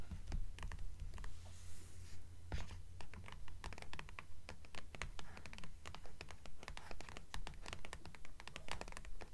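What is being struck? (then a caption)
Hardcover book cover. Long nails tap and scratch the cover of a purple hardcover book lying on a stack. Quick, fairly regular taps mix with dry scratching strokes over a steady low hum, producing a dense, continuous patter of short clicks.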